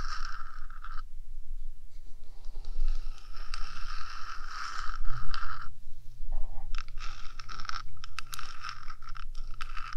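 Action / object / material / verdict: scrape / metal microphone housing / metal / none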